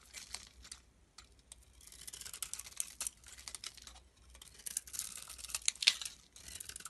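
A palm-sized solid soap bar with a pink coating and a cream-colored inside is held in the hand and shaved with a metal blade, while another soap bar lies still nearby. It makes a quick run of dry, crisp scraping and crackling strokes, bright and high with almost no low end, each stroke dying away almost at once.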